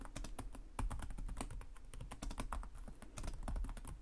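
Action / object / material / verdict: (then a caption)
tap / plastic laptop keyboard / plastic / none. Fingertips of both hands tap rapidly on the low-profile plastic chiclet keys of a black laptop with a hollow body, in continuous typing. A dense run of short, clicky key taps over a soft low thump from the hollow body, with brief bright clicks on top and no pauses across the four seconds.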